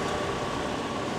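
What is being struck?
Nothing is struck.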